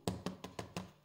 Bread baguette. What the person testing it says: dessous ça sonne creux ça devrait le faire